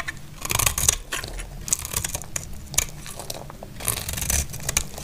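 A solid amber translucent bar of dry soap, held in hand, is scraped and carved with a snap-off blade, shedding crunchy flakes. The sound is a run of bright, dry crunching scrapes with sharp crackling bursts over a low rumble, each cut stopping short with no ring.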